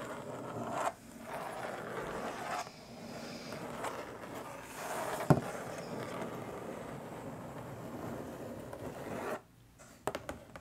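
Long stiletto nails scratch and tap across the lid of a long, flat, printed Diamond Art Club cardboard box lying hollow on a table. A steady, dry rasping scrape with a hollow low-mid body runs in long strokes with brief pauses, broken by a sharp tap midway. A few quick, light taps close the clip after a near-silent gap.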